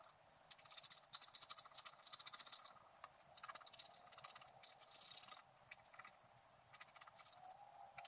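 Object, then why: Wax-coated scratch art card. A wooden stylus scrapes the black coating off a flat, wax-coated scratch-art card lying on a table, working around a squirrel design while the other hand steadies the card. Quiet, bright scratching comes in rapid bursts of short strokes with brief pauses between them, with almost no low end.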